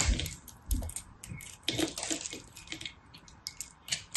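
A small solid chunk of pressed multicolor soap, held in the fingers, is shaved with a small knife blade. Crisp, bright scraping and crackling bursts come with soft low thumps, and flakes drop away.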